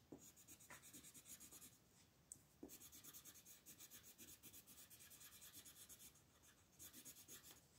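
A purple colored pencil tip rubs and scratches across a thin sheet of white printed mandala paper lying flat on a table in repeated coloring strokes, while the other hand, with long nails, rests on the paper. The strokes produce a steady run of bright, hissy scratching pulses with brief quieter pauses between bursts.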